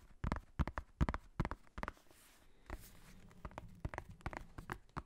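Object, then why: Hardcover notebook with faux-leather cover. Fingernails and fingertips tap and scratch the scratched cover of a black hardcover notebook with a faux-leather cover, close to the microphone. Quick, soft, low-pitched taps come in uneven clusters, with a brief hissy scratching stretch in the middle. Each tap dies away almost instantly.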